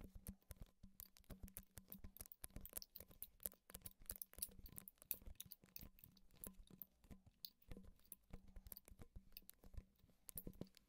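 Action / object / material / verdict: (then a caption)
tap / plastic creamer bottle / plastic / none. Fingertips and nails tap and scratch along the body of a medium plastic coffee creamer bottle with a blue label and a white and yellow cap, possibly hollow or partly filled, held close to the recorder. Rapid, dry, quiet clicks and light scratches with a dull hollow low thump come in irregular bursts, each dying away almost instantly.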